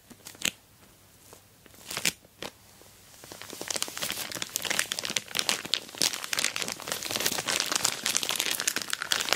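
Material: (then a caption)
Plastic. Long black nails tap and scratch an orange plastic Temu mailer bag wrapped around a rectangular box, while fingers spread and press the crinkly plastic. A few sharp, isolated taps come first, then a steady stream of bright crinkling, crackling and scratching that grows denser and louder through the rest of the clip.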